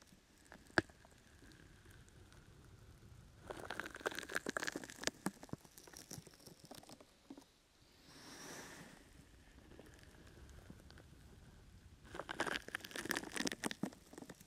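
A brown, open-weave, sticky foam rubber grip mat is draped over a microphone while both hands with long nails scratch and squeeze its sides. Two bursts of dense, crackly, crinkling scratching are heard, with a softer breathy swell between them and quiet rustling throughout.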